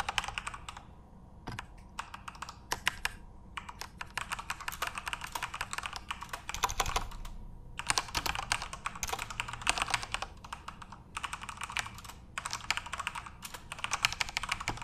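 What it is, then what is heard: Plastic mechanical keyboard. Both hands tap rapidly with their fingertips on the plastic keycaps of a full-size Corsair RGB-backlit mechanical keyboard. Dense bursts of bright, dry clacks come with brief pauses between runs, and each keystroke stops sharply with no ring.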